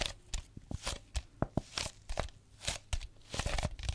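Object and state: Plastic water bottle.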